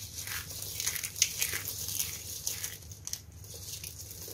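Two hands with long painted nails dig into, squeeze and crush a heap of broken, brittle pink and black starch-coated soap flakes on a white surface, while the decorative soap flowers around the pile stay untouched. The result is a continuous run of bright, dry crunching and crinkling, with sharper crackles popping out now and then over a faint low hum.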